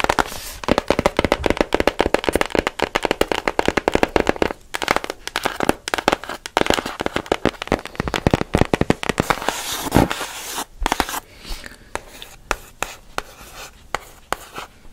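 A fast stream of sharp, papery clicks with scratching between them, mid-high and dead within a fraction of a second. The dry, non-ringing ticks fit stiff cardboard, with the box's open body adding a slight hollow body to the taps.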